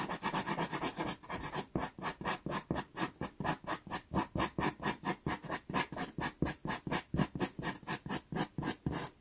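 A natural-wood pastel pencil hatches quick strokes across a small taped sienna Pastelmat card. Dry, papery scratching starts as a blurred rub, then settles into distinct rhythmic strokes at about two per second, each a short grainy rasp with no ring.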